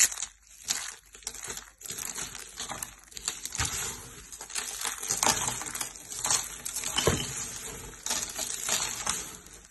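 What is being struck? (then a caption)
Soap flakes crushed by hand. Handfuls of light green dry soap shavings, solid brittle flakes, are squeezed and crushed between fingertips and palms over a purple mat. A steady stream of bright, dry crunching and crackling rises and falls in bursts, with little low end. The flakes crumble with each squeeze.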